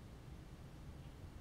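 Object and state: Nothing is struck.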